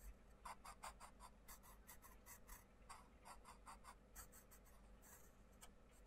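A wooden coloured pencil scratches and rubs across a paper colouring book page resting on a wooden table, in steady colouring strokes. The quiet strokes come as a rapid, slightly uneven series of soft, bright scratches, each fading almost at once, over a faint low background hum.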